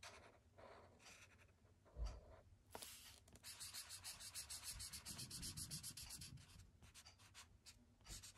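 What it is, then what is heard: Marker rubbing on paper. A thick yellow felt-tip marker rubs colour onto a white paper sketchbook page resting on a wooden desk. Soft, scratchy strokes come first, then a quick run of steady back-and-forth rubbing with a bright, papery hiss, and a few low bumps against the desk. It ends with lighter scattered strokes.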